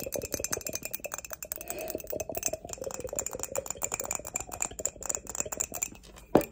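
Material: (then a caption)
Glazed ceramic. Long acrylic nails tap rapidly over the sides and bottom of an empty, hollow grey glossy ceramic mug with an unglazed base and a barcode sticker. The result is a dense run of dozens of light, bright clinks with brief ringing tones, ending in one sharper, louder clink near the end.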